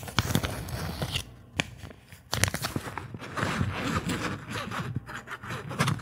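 An empty, thin translucent plastic bag is held and crinkled with fingertips close to the microphone, giving dense crackling and rustling with sharp, bright snaps. The crinkling eases into a softer, quieter stretch partway through, then picks back up with renewed crackles until the end.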